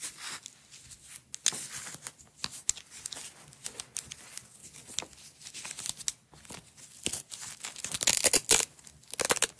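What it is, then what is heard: Nylon hook-and-loop (velcro) strap being peeled. Long nails and fingertips pull a blue hook-and-loop nylon velcro strap off a small roll and press it back down, peeling the velcro again and again. Bright, crackly rasping tears come in short bursts with quiet gaps between them, growing louder and denser toward the end.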